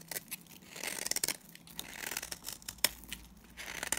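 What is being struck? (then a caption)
Bar of soap. A solid mauve-brown oval bar of dry Timotei soap is held in the hand and shaved with a box cutter blade. Quiet, dry scraping and crisp crunching strokes come in short bursts, almost all bright and high with little low end. Sharper clicks stand out around 1.2 and 2.8 seconds.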